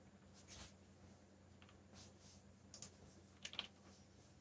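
Fingertips tap the black plastic keycaps of a backlit mechanical keyboard while typing, giving five soft, bright clicks that die away almost at once. The clicks are quiet and spaced unevenly, with a sharper pair near the end, over a steady low hum.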